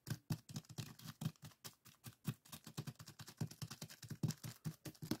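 Fingertips of both hands tap and scratch a small clear plastic zip-lock bag full of purple sand granules resting on a wooden table. Some three dozen quick, soft, low thuds follow one after another, each with a faint, bright, gritty rustle of sand and plastic. Every tap dies away almost at once.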